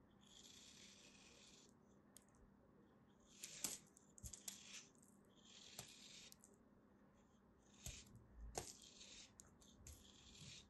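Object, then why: Kinetic sand shape. A green, solid kinetic sand turtle shape is held in both hands and cut and scraped with a small black blade, and slices fall away. Soft, bright, hissing scrapes come in repeated bursts, broken by a few sharp ticks and low soft thumps as pieces drop.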